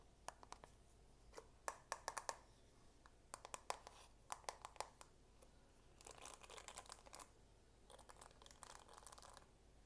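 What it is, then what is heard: Plastic paddle hairbrush. A plastic paddle hairbrush with a marbled dark plastic back and bristles is held up while fingertips and nails tap its plastic back, giving quiet, sharp clicky taps scattered through the first six seconds. This is followed by two stretches of dense, bright, crinkly scratching as nails run over the bristle side.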